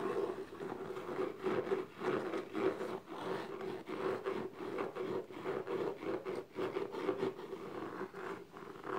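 Long nails scratch and rub across the top and sides of the lid of a small, closed, hollow black gift box made of textured paper-covered cardboard. The result is a continuous, dry scratching and rubbing texture that swells and dips in short strokes, with a steady hollow resonance in the low-mids and very little deep bass or bright top.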